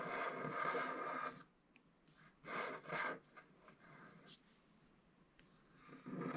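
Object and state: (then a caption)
Scratch art card being scratched. A wooden stylus scratches the black coating of a flat scratch art card lying on a table, working in the lower part of the design. Dry, raspy scraping strokes come in bursts, with a long steady scrape at the start. Quieter light scratches and pauses follow before the scraping picks up again at the end.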